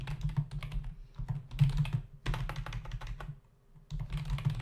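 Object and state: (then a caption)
Plastic computer keyboard. Both hands type with their fingertips on a black plastic membrane computer keyboard with plastic keys and a hollow body, resting on a desk. A rapid run of soft, hollow clicks and taps pauses briefly near the end, then resumes, over a steady low hum.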